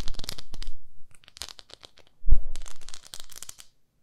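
Long nails tap and scratch across the surface of a pink plastic facial cleansing brush, a pink plastic pad with a handle. Quick, bright, papery scratching bursts crackle in close succession, broken by a short quiet stretch before a louder tap and another run of scratches that fade out.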